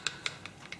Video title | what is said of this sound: Radiant Defense Review Rodan and Fields R+F | I like to shake it up. You hear the little clicking?